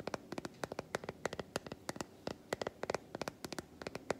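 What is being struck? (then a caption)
Segmented milk chocolate bar. Long white acrylic nails tap quickly on the squares of a solid, segmented milk chocolate bar held upright in one hand. About two dozen sharp, dry clicks come in uneven bursts, each very short with no ring, centered in the mid range with a bright edge.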